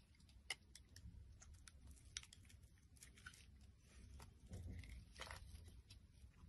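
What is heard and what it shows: A utility knife blade scrapes shavings off the surface of a solid, translucent pink glycerin soap bar held in the hand. Quiet, dry crackling scrapes come with sharp, bright ticks and a soft low rumble underneath, with a brief thin tone near 2 kHz in the louder passage toward the end.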